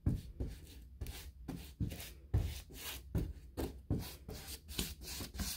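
A wide bristle paintbrush rubs across the flat middle rail of a painted, molded hardboard door: a white six-panel interior door with a knob hole, likely a hollow-core molded composite. Repeated scratchy strokes each start with a soft low thump and a bright, hissy bristle scrape, then fade quickly in a steady, rhythmic pattern.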